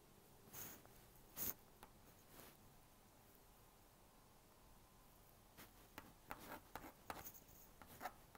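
A plastic magnetic stylus scratches lines across the screen of a small blue-and-pink plastic magnetic drawing board while drawing a mouse. Quiet, bright, dry scratching strokes come in short bursts, with a long near-silent pause in the middle before a quicker run of strokes at the end.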